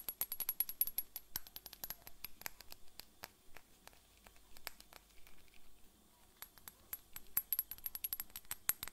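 Long fingernails tap rapidly along the side of a tall, slim, clear glass bottle with a white cap, partly filled with liquid and held in one hand. Dozens of sharp, bright clicks come in quick flurries, thinning to softer, sparser taps in the middle before speeding up again, with a faint high ring over the strikes.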